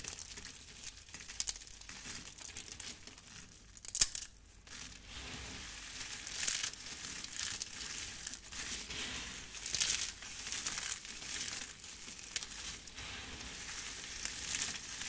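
Two hands with long red nails scoop and squeeze handfuls from a large pile of thin, brittle, dried pink and yellow soap shavings, crushing and crumbling the flakes. A steady, bright, crinkly crunching runs throughout, with louder bursts of crackling as each handful is squeezed.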